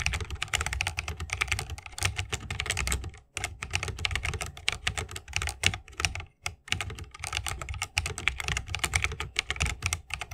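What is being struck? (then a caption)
Mechanical keyboard with plastic keycaps in a bamboo case. Fingertips of both hands type continuously on a 60% mechanical keyboard with plastic keycaps and Holy Panda tactile switches in a bamboo wooden case. A rapid, steady stream of short, bright clacks with a low thock beneath each press carries through the clip, with brief pauses near 3.3 and 6.4 seconds.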